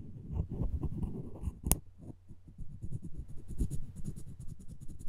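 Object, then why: Wooden spoon handle. The taut thread of a plastic floss pick is rubbed and scratched back and forth along a light-coloured solid wooden spoon handle held by hand. Quick, dense, low scratchy rubbing strokes continue throughout, with one sharp bright click standing out partway through.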